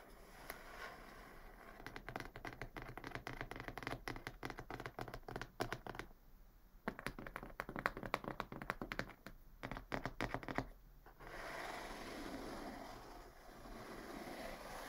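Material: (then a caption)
Cardboard. Long fingernails tap rapidly on the top of a medium, closed, hollow brown corrugated cardboard box near the tape strip, making quick, dry, irregular clicks with a hollow thud beneath. The tapping runs in dense bursts with a brief lull near the middle, then stops at about eleven seconds, leaving a soft, steady scratchy rustle to the end.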